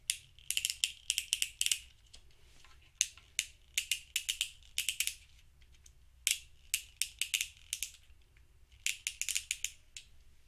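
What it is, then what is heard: Plastic fidget cube clicking. A thumb presses and flicks the clicky buttons and switch on a small grey hollow plastic fidget cube held in one hand. Quick bursts of sharp, bright, rattling clicks come in clusters with short quiet gaps between them. Each click dies away almost instantly, leaving only a faint low hum.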